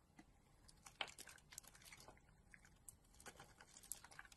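A utility knife blade carves and scrapes a solid pink soap bar with a blue outer layer, held in the hand, into shavings. Quiet, bright, crisp scraping and ticking sounds come in quick irregular bursts with almost no ring, over a faint low hum.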